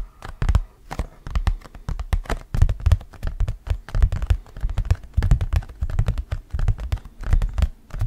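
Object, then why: Thin cardboard hand fan. A round, thin, printed cardboard hand fan is held in both hands in front of a microphone and scratched and tapped with fingernails. Rapid, uneven bursts of dry tapping and scratching follow one another with dull, low thumps and crisp papery clicks. Each sound stops almost instantly, with no ring.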